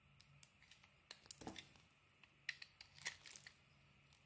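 A metal blade scrapes the surface of a palm-sized, solid pink and orange bar of soap held in the hand, peeling off thin layers. A quiet series of short, dry scrapes and crisp ticks, mostly bright with little low end, plays over a faint steady low hum.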